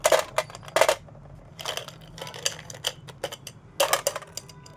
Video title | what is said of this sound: " Godishev - गावाकडची जत्रा मिठाई - गोडीशेव #snacks | अगदी छान खुसखुशीत आवाज येतोय आपल्याला